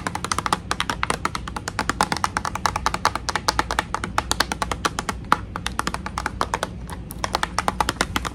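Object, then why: Clear plastic blister pack. Long nails tap rapidly on a clear plastic blister pack holding a pink toy tea set, backed by cardboard. The result is a fast, steady stream of dry, hollow clicks, each dying away almost instantly, with a bright plastic edge and a focus near 1.2 kHz. A low hum sits underneath throughout.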